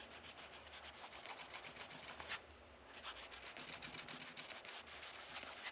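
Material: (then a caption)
Rosewood. Fingers rub and wipe a yellow microfiber cloth along the dark rosewood fretboard of a guitar neck resting on a padded rest. Quick back-and-forth strokes make a steady, bright, hissy swishing, with a brief softer lull midway before the rhythmic rubbing picks up again.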